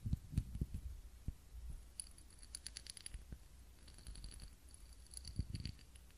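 A small ribbed glass candle holder filled with wax and holding a lit candle is held in both hands and tapped with long fingernails. Quick, quiet taps give soft low thuds and bright, clicky ticks, with faint high glassy ringing tones in the middle of the clip. The tapping is irregular, with the heaviest clusters at the start and end.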